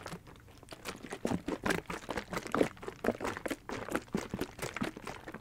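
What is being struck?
Hard plastic gel ice pack.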